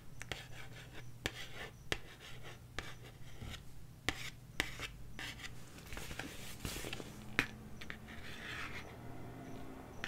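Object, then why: Cardboard LP record sleeve. A 12-inch cardboard LP jacket is held upright while long nails scratch and tap across its glossy printed surface. Brief, sharp taps with very little ring cut through soft, dry scratching, over a steady low hum.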